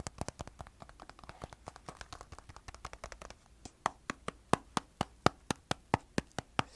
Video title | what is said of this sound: ASMR Switching Between Soft Spoken and Whispers 😊🧡 (trigger assortment, show + tell ramble) | there is something kind of satisfying about that deeper more resonant sound of the finger pad tapping